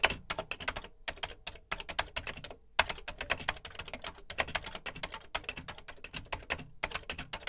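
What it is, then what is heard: Plastic home computer keyboard being typed on. Fingertips type on the dark plastic keys of a Commodore VC 20 home computer with a beige plastic case. The result is a steady run of rapid, bright plastic clicks and clacks in bursts, with short pauses between them.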